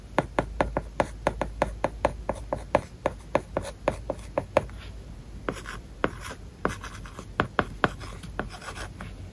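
A hard plastic stylus writes on an iPad's glass screen covered with a matte plastic paper-like film. The sound is a rapid series of short, dry taps and scratchy strokes, with a steady faint hiss underneath. About 32 distinct taps can be made out.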